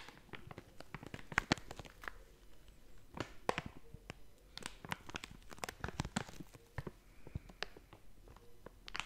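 A blue and yellow crinkly plastic/foil snack bag, hollow and seemingly filled, is held and squeezed with fingertips and long nails. The result is a dense run of sharp crinkles and crackles, many of them quick bright snaps that die away almost at once, over a quiet background.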